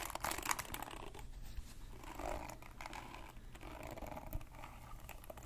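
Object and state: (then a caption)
Plastic hairbrush bristles scratched. A hand-sized red plastic paddle hairbrush with a black cushion and dense pin bristles has its bristles scratched and plucked with fingertips and nails. The result is a continuous bright, crackly scratching with quick clicky snaps, over a steady low background rumble.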